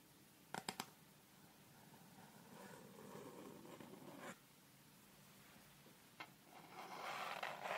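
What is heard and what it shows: Long red nails tap and click along the surface and edge of a thin, flat, solid light wooden (bamboo-like) triangular set square held in both hands close to the mic. Three quick sharp clicks open the clip, followed by a soft scratchy rubbing that builds to another click, then a single click and a louder, brighter scraping run at the end, five distinct clicks in all.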